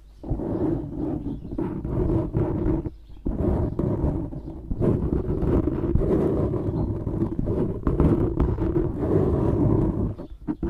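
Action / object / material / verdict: scrape / foam microphone windscreen / foam / none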